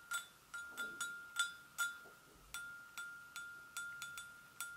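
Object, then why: Porcelain gravy boat. Long acrylic nails tap both sides of an empty, hollow, medium-size white porcelain gravy boat, giving twelve light clicks. Each click has a bright attack and a clear ringing tone near 1.4 kHz that fades quickly.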